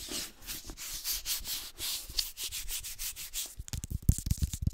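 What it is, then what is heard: Hardcover book being rubbed and scratched. Fingertips rub and scratch the cover, spine and page edges of a red illustrated hardcover book, making a run of soft, bright, hissy strokes in a steady rhythm. Near the end the sound turns into quicker, sharper contacts with dull low thumps underneath.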